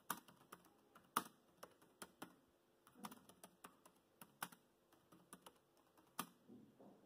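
Fingertips type on the black plastic chiclet keys of a dark grey laptop keyboard. About sixteen quiet, crisp clicky taps come at an uneven pace, some with a soft low thump underneath. Each tap dies away almost instantly.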